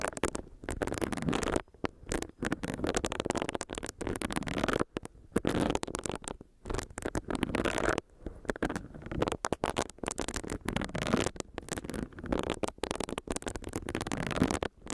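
Long nails tap on a small, solid pink silicone facial brush, and its bristles are rubbed against the microphone. The result is close, muffled scratching and brushing in dense, stop-start bursts, broken by brief silences and weighted toward low and mid tones with little high-end brightness.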